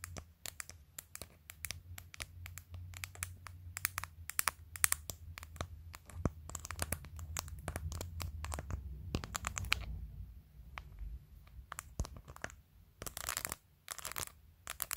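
Long acrylic nails tap and scratch the top edge and face of a clear glitter plastic phone case covered with glued-on matte acrylic press-on nails. The sound is a dense run of quick, dry, bright clicks and scrapes. A steady low hum sits underneath.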